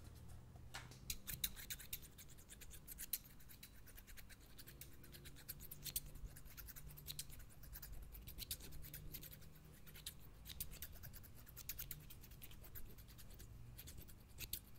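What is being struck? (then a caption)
Steel scissors with plastic handles. Steel-bladed scissors with green plastic handles, held in one hand, snip repeatedly and scrape their blades together in the air close to the microphone. Sharp, bright metallic clicks and rasping scrapes come in quick, irregular bursts over a steady low hum.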